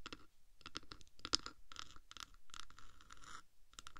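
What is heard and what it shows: Long black nails on both hands scratch slowly across the top of a hollow black metal 3Dio microphone housing. The result is a series of soft, close, rasping bursts with bright high hiss, a steady tonal band around 1.3 kHz, and one sharper tick partway through.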